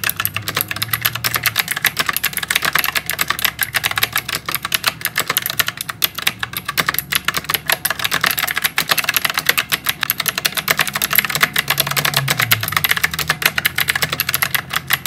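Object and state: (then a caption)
Mechanical keyboard with clicky switches. Fingertips of both hands type continuously on a white full-size plastic and metal mechanical typewriter-style keyboard with round keycaps and clicky blue switches. The result is a fast, steady stream of sharp, bright clicks with very short decay, plus a faint low hum underneath.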